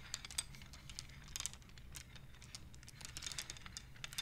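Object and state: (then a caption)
Wooden abacus beads clacking. Fingers slide and clack the painted wooden beads of a wooden abacus, making a quiet, irregular run of short, bright clicks and taps. Each click dies away almost at once over a faint, steady low rumble.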